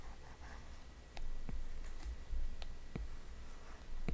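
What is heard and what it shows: An Apple Pencil's hard plastic tip, held in the fingers, taps and scratches short strokes on the glass touchscreen of a large iPad. Sharp, dry clicks stand out over a low, quiet rumble. Light scratchy strokes come between them.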